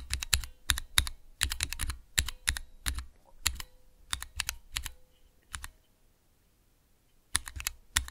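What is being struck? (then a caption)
Mechanical key switch tester with clear plastic keycaps. Fingertips and nails press keys on a small clear plastic Cherry MX switch tester with transparent keycaps. Quick, irregular bursts of sharp clacks carry a low thock and a bright click, with each tap dying away almost instantly. The tapping stops for about two seconds near the end, then picks up again.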